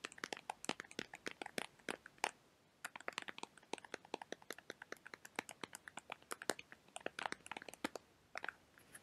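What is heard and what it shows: A small, hollow, rectangular printed cardboard perfume box is held in the hands and tapped and scratched with fingertips and nails. Dozens of quick, dry, crisp taps and scrapes come in rapid irregular bursts, with a brief pause near the start. Each tap is bright and papery, with almost no low end and no ring.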